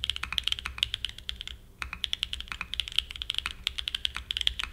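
A small 60% Frog mini mechanical keyboard with a black aluminum case and white and grey plastic keycaps, resting on a desk mat, is typed on continuously with fingertips. About 34 rapid, sharp key clacks sound bright and clicky, centered near 3.3 kHz with little low end. Each clack dies away almost instantly, and there is a brief pause in the middle of the run.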